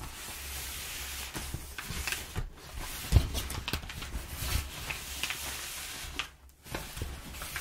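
Hands rub over crumpled, perforated kraft packing paper while fingernails scratch its surface, producing close crinkly rustling and bright, scratchy friction over a steady low hum. The rubbing runs continuously with brief lulls near 2.5 s and 6.4 s, and a sharper crackle stands out around 3 s.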